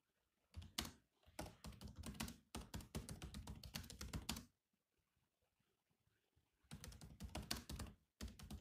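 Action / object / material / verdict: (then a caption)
tap / plastic laptop keyboard keys / plastic / none. Fingertips from both hands type on a grey laptop keyboard with black plastic chiclet keys, producing rapid, clicky taps with a low thunk. The typing comes in bursts, with a quiet pause around the middle before it resumes.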